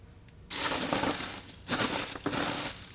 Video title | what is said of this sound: Urban Worm Bag V2 with ENCs - Tiny European Nightcrawlers 05/23/2024 | that nice glassy sound that means that it's really well broken down